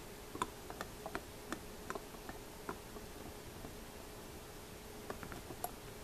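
Fingertips tap and rub the mother-of-pearl-covered barrels of small antique opera glasses with a brass focus wheel. Light, crisp ticks with a quick decay come in a loose cluster early on and again near the end, separated by a quieter stretch of soft rubbing. A faint steady hum runs underneath throughout.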